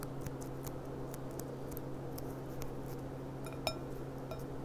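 Long painted nails tap the bowl of a clear, empty gilt-rimmed glass goblet lying on its side, giving soft, short glassy clinks over a steady low hum. One tap stands out louder, with a brief bright ring.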